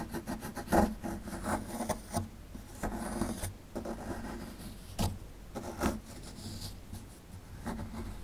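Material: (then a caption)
Plaster. A small solid plaster excavation block, held in the hand, is scraped with a metal pick tool. Dry, gritty rasping and scratching strokes come in uneven bursts, with a few sharper scrapes standing out. The sound is mostly low-mid in tone, with little high-end brightness.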